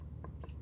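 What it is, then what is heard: Unripe watermelon, solid wooden knock. A small watermelon still on the vine in the garden is knocked, giving short, dull, solid thuds that sound like a piece of wood, with energy mostly low in pitch. The solid, wood-like sound shows the watermelon is unripe and nowhere near ready.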